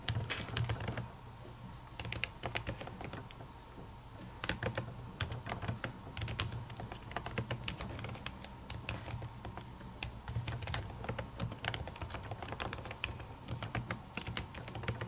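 A silver laptop keyboard with plastic keys under a white silicone cover is typed on with long natural fingernails. Dense, rapid, short bright clicks and taps run throughout, lightening briefly around one to four seconds, over a steady low hum.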